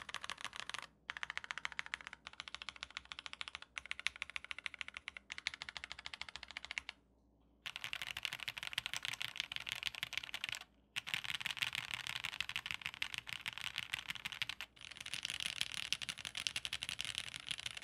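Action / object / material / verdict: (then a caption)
tap / mechanical keyboard with metal case and plastic keycaps / metal, plastic / none. An OwLab x Mr. Suit full-size, solid-body TKL mechanical keyboard with a silver metal case, dark grey plastic keycaps and all foam installed sits on a desk mat while both hands type with their fingertips in quick succession for a typing test. Dense bursts of short, bright, clacky keystrokes run with almost no ring or low end, broken by a few brief pauses, the longest lasting under a second around the middle.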